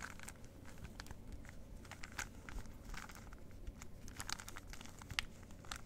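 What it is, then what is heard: Plastic puzzle cube being turned. A plastic 3x3 Rubik's cube is held in both hands while fingertips repeatedly turn its faces. The result is a steady stream of quick, bright plastic clicks and crinkly scrapes, peaking around 2.1 kHz, over a constant low rumble.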